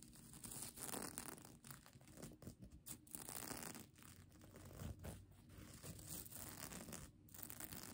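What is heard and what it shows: Long nails scratch quickly over the plastic sequins of a folded sequin mermaid tail blanket held in one hand. The result is a dense, continuous crinkly rasp with a bright hiss, swelling and dipping in rapid bursts of scratching.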